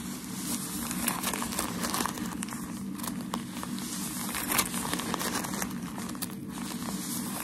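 A bundle of white tissue shoe-packaging paper is held in both hands while fingertips and nails scratch and squeeze it. It gives steady crinkling and crackling with dense, bright scratchy rustles over a constant low hum near 184 Hz. Several sharper crackles stand out, without any voice.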